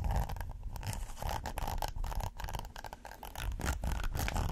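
Fingernails scratch along the ridges of a red textured silicone pot holder, first folded and then laid flat. The result is a dense, continuous run of quick, dry rasping strokes with a heavy low rumble underneath, dipping briefly in the middle before picking back up.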